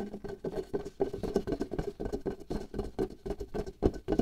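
Long nails and fingertips rapidly tap a taut latex glove membrane stretched over the opening of a small hollow glass jar held in one hand. The result is a fast, uneven patter of soft, dull drum-like thumps with a low hollow tone around 370 Hz, almost no bright content, and very short decay.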